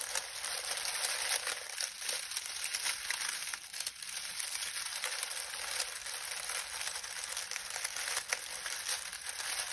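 A pile of dry lemon balm leaves is pressed and kneaded with both hands, the fingertips crushing and crinkling them. A steady, dense, bright crackling rustle with no low end runs throughout, with occasional sharper crunches.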